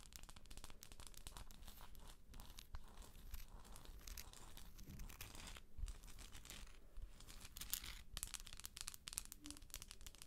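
Long acrylic nails scratch the textured shell of a hollow plastic galaxy moon lamp held up in the air. A quiet, dense run of rapid scratchy crackles and bright rasping strokes continues throughout, with a faint low rumble underneath.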